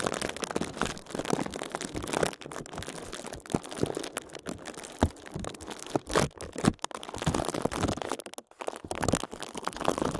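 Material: Plastic.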